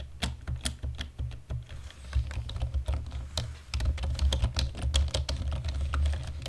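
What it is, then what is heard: Plastic computer keyboard being typed on. Fast typing with the fingertips and nails of both hands on a black plastic computer keyboard produces a rapid, uneven stream of sharp, bright key clicks and taps. The clicks ride over a steady, deep low hum.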